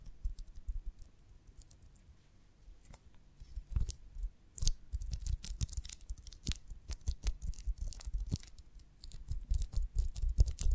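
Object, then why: Beeswax honeycomb on a wooden branch. Long fingernails tap and scratch across the waxy cells of a whole beeswax honeycomb still attached to its branch stick, held in both hands. Irregular, dry clicks and short scratchy rasps come in quick, uneven bursts over soft, low thumps, each sound dying away almost at once.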